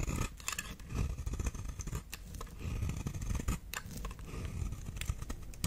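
A knife blade carves and scrapes long shavings from the edge of a solid, dry, palm-sized brown oval bar of soap held in the hand. Repeated crisp, bright scraping strokes sound over a steady low rumble, with short bursts of crackle as each shaving peels away.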